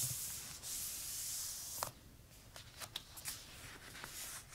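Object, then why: Paper notebook pages. Fingertips with short nails trace and rub over the uncoated, handwritten paper pages of an open notebook with a pink hardcover, with some page turning. A steady, bright papery hiss of rubbing fills the first part, then drops to a quieter scratchy texture broken by a few sharp ticks and crinkles.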